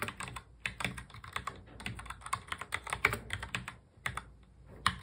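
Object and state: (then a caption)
Plastic mechanical keyboard. Fingertips of both hands press the keys of a full-size black plastic mechanical keyboard in fast touch typing. A rapid, uneven stream of short, bright clicks and clacks decays almost instantly, with a few brief pauses between bursts and a louder keystroke near the end.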